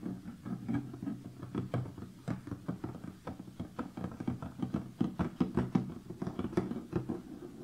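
Fingertips and nails tap and scratch the lid of a large closed cardboard jigsaw puzzle box resting on a table. They make a steady run of quick, dry, hollow knocks with a low body, mixed with soft scratching. Each tap dies away almost at once.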